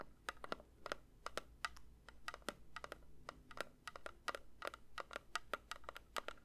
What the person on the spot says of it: 3:47 Metal candle tin tapping